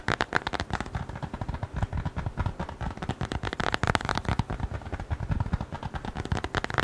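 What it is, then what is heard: Leather wallet. Fingertips rapidly tap and scratch a small, flat brown leather wallet or notebook cover. Dense, fast, dull taps with a low, thuddy body mix with dry, crackly scratching. Each tap is short and dies away almost at once.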